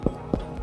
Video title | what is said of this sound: Easy Tiger Bread Breaks Uncut | tap it lightly on the bottom sounds nice and hollow that's telling us that it's done